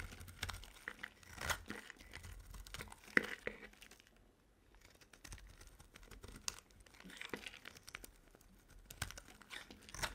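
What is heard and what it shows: A solid oval bar of dry soap, white with a blue rim, is held in the hand while a metal utility blade carves thick curls off it. Dry, crackly scraping and crumbly crunching come in uneven bursts, with a brief quieter pause in the middle.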